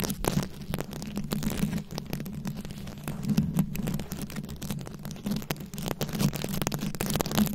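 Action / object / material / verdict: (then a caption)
scrape / microphone head covered in plastic rhinestones, scratched with long nails / plastic rhinestones / none. A fist-sized round microphone head covered in plastic rhinestones and beads is scratched from both sides with very long acrylic nails. Dense, rapid clicking and scraping comes through close and crackly, over a steady low hum and rumble that carries most of the energy. The scratching runs continuously and unevenly, with brief sharp ticks throughout.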